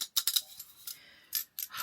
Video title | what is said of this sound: SUMMER GLOWY MAKEUP & BODY ESSENTIALS! | It's an aerosol setting spray, but you can hear you need you really need to shake it up. It has a little ball inside to mix all the products together.